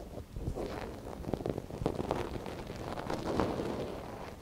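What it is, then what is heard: Silicone ear of a binaural microphone being scratched. A gloved hand holds the soft silicone ear of a binaural microphone while a thin wooden stick scratches inside its ear canal. Close, muffled scraping and rustling crackle continuously, with the sound concentrated in the low and mid range and almost no high, bright content.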